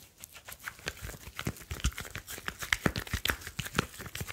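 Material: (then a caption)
Glass, metal. A smartphone with a glass screen and a metal back is held in both hands while fingertips rub and tap across the back and the screen. A quiet, steady run of soft, dry taps and brushing scrapes follows, each one short with no ring and a bright, crinkly edge over a light low thump.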